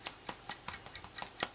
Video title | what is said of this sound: Pumpkin Pasties Recipe from 1947 | turn one upside down and give it a tap. And if it sounds hollow, then it's cooked.